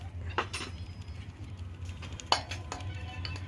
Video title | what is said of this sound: How To Change Bike Wheel Bearings Without Side Stand--Telugu | Bearing ఊపి చూస్తే sound అయితే వస్తుంది అనమాట. లోడ అని సౌండ్ వస్తే బేరింగ్ పోయినట్టు అనమాట